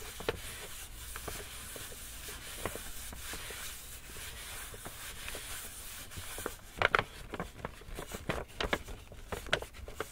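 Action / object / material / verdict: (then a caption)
tap / paper gift bag / paper / none. Long nails and fingertips tap and scratch the paper side of a small, empty, hollow black kraft paper shopping bag with rope handles, held in both hands. A soft, steady papery scratching and rustling fills the first six seconds. It is followed by sharper, louder crisp taps with a hollow, bright crackle that stop quickly.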